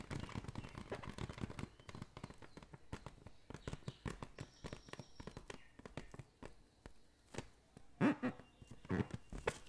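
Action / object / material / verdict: tap / water-filled latex balloon / latex / none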